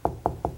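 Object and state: Hollow drywall between studs.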